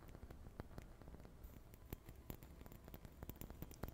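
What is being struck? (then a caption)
Small ceramic ornament. A small, hollow, red-and-white painted ceramic Christmas ornament is held in both hands close to the microphone and tapped and scratched with long painted fingernails. Quick, dry clicks and taps with very short ring sit over a soft, low, rumbling scratchy texture, at a quiet level throughout.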